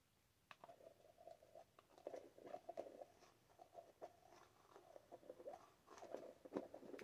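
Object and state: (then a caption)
Plastic tub of shea butter. Long acrylic nails tap and scratch the sides and base of a large, full, translucent plastic jar of whipped shea butter with a gold lid and paper label. The result is a quiet, steady stream of soft, hollow clicks and scratchy rubbing, centered in the midrange, with brief bright tick transients and almost no low rumble.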